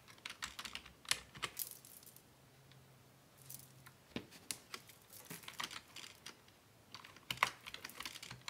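Both hands type with their fingertips on a black plastic Dell desktop keyboard resting on a wooden desk. Quick, bright, crisp key taps come in bursts with short pauses between them, and a faint low hum sits underneath.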